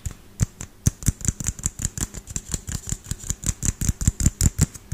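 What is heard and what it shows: Fingernails and fingertips tap quickly on the frosted plastic dome of a small, hollow LED light bulb held in one hand. The result is a fast, irregular run of short, dry taps, each with a hollow low thump and a bright, clicky tick that stops almost instantly.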